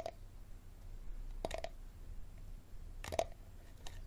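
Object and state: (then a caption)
Empty plastic water bottle. Fingernails tap the ridged bottom of a small, empty, clear plastic water bottle held base-forward, making short, dry, hollow clicks with a faint tone around 670 Hz. The taps come in sparse little clusters over a quiet, low rumbling background, and each one stops almost at once.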